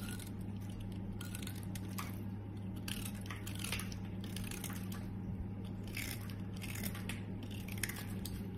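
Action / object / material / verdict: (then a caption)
scrape / bar of soap shaved with a small blade / soap / none. A small metal utility blade shaves and scrapes flakes off the scalloped edge of a solid yellow bar of soap, held in a hand with long red nails, while a green soap lies untouched nearby. Soft, dry rasping strokes with brief bright scratchy bursts repeat steadily over a constant low hum.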